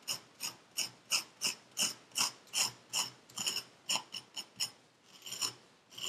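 Packed purple kinetic sand in a paper cup, held in black-gloved hands, is scraped and carved with a thin metal pick tool that has a wooden handle. A quick, fairly steady series of short, crisp scraping strokes is heard, bright and hissy with almost no low end, each stroke dying away quickly, then a softer drawn-out scrape near the end.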